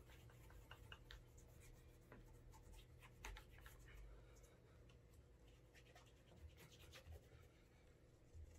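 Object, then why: Leather dress shoe. A cloth-wrapped fingertip rubs wax onto the heel, upper and sole edge of a brown leather Alden Straight Tip Blucher dress shoe held upright by hand, creating a wax burnish. Soft, quiet scratching and rubbing strokes repeat throughout over a steady low hum, with brief bright frictional streaks on each pass.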